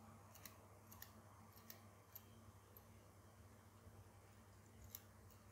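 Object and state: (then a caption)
Metal zipper pull on doll trousers. A fingertip and nail tap and flick the tiny metal zipper slider and pull tab on the fly of a ball-jointed doll's dark trousers, then pinch and wiggle it. About seven small, bright metallic ticks and clicks stand out, each dying away almost at once, over a steady low hum.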